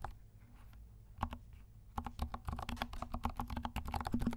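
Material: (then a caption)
Plastic. Fingertips of both hands type on a compact 68-key mechanical keyboard with dark plastic keycaps and silent switches. One soft keystroke comes first, then a quickening run of muted, low thocks and light clicks. Each one dies away almost instantly over a faint low hum.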